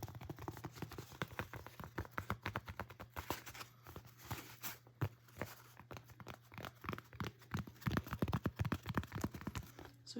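Fingertips wrapped in fabric bandages tap on a small board of foamy, styrofoam-like material. The result is a rapid, irregular stream of soft, dull taps with a low thump and very short ring.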